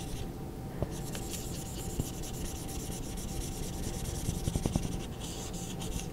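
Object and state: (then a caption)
Marker rubbing on a small whiteboard. A red Expo dry-erase marker tip repeatedly rubs and scratches across a small handheld dry-erase board with a glossy laminated surface and a plastic frame, held upright, to fill in a pink triangle shape. A steady, bright, papery rubbing hiss runs throughout over a low rumble, broken by a few sharper squeaky ticks near the start, at about two seconds, and in a cluster late in the clip.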